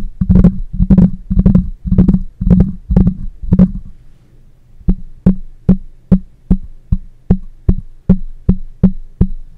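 Fingertips with short nails rub and tap directly on the metal mesh grille of a black cylindrical condenser microphone with a hollow head, mounted on a stand. Seven dense bursts of quick overlapping rubbing taps come first, then after a brief pause one hand taps the grille twelve times in a steady rhythm. Each tap is a short, dull, low thump with a faint bright edge that dies away almost at once.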